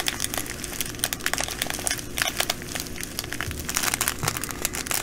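Long nails scratch a clear plastic bag full of small green glass bugle beads while fingers pinch and squeeze it. The result is a steady stream of bright, dense crinkling and crackling, with the beads shifting faintly inside the bag.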